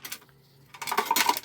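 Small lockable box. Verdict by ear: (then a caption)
Loose. A blue combination-lock box is shaken, making quick, bright rattling clicks. The rattle shows something loose is inside the locked box.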